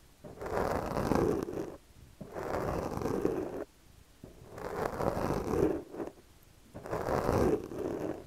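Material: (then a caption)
Foam. A yellow plastic comb's teeth are dragged across the top of a soft, porous black foam windscreen on a microphone while the other hand steadies the mic. Four long, breathy scratching passes swell and fade, each a rough, dense rasp centred in the low mids with a hiss reaching up high, separated by short quiet gaps.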